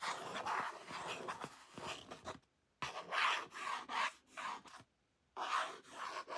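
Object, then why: Laminated cardboard card. Fingertips and painted nails rub and scratch along the glossy surface of a thin, flat, hand-sized laminated cardboard "Salad Specials" recipe card held in the other hand. The result is soft, dry, raspy scraping in bursts separated by brief silences, mostly in the midrange with almost no low end.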